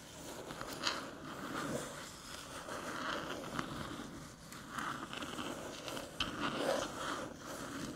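Long metallic nails tap and scrape the top of a small, flat, hollow aluminium USB-C hub near its edge as it rests on a dark table. The result is a steady run of soft, crackly scratching with light, quick metallic clicks centred in the mid-range around 1.2 kHz and a few brighter ticks. Each tap fades almost at once.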